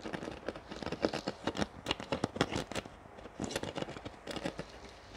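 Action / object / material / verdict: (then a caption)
tap / thin plastic water bottle / PET plastic / none. Fingernails tap rapidly on a large, clear PET water bottle with a paper label, partly filled with water and hollow, while squeezing its thin plastic. About two dozen quick, dry clicks and crinkles come through, each dying away almost instantly, with a hollow tone around 316 Hz and bright, crackly edges. There is a short lull near the middle before the tapping resumes.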